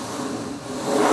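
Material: Nothing is struck.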